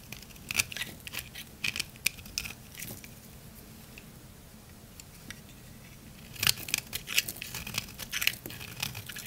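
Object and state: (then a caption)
Dry soap bar. A utility knife blade scrapes and shaves the face of a round, pale green, solid, palm-sized dry Korean soap bar into curls. Bright, crisp crunching and scratchy scraping bursts come in quick runs, then fade to a quiet stretch before a louder, denser flurry of shaving resumes near the end.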